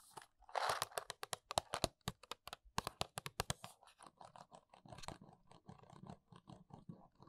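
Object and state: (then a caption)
Small paperboard box tapped and scratched with nails. Long nails scratch the top of a small, hollow paperboard box of press-on nails with a plastic window, then tap and trace along its front. Dry, crunchy scratches and a rapid run of sharp, bright taps give way to softer, duller tapping and tracing with more low body.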